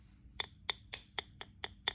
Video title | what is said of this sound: Krystalgitter og overrørt honning | You can almost hear it when I tap it with the spoon. This is a really hard honey.